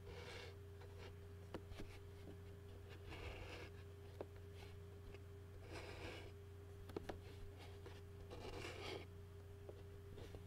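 Fingernails and fingertips scratch and tap the bottom of an empty white plastic takeout bowl. Quiet bursts of bright, raspy scratching alternate with five sharp, short taps, all over a steady low hum and a faint constant tone.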